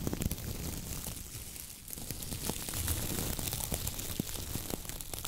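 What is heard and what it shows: Fingernails scratch the coir bristles of a coconut fiber dish brush with a wooden handle, then a hand squeezes the brush head. This makes a dense, dry, crackling rustle with bright, crinkly texture and quick irregular snaps over a low rumble, easing briefly before the squeezing brings a fuller crunch.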